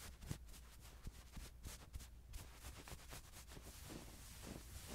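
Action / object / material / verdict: scrape / soft plush toy fur / plush fabric / none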